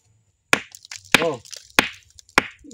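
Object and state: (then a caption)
Ordinary stone with a plain, non-metallic sound. An ordinary stone is struck four times for comparison with a metallic-sounding stone, giving sharp, bright cracks that die away almost instantly with no ringing. A short voiced "oh" follows the second strike, and the stone's sound is different from the metallic one, marking it as an ordinary rock.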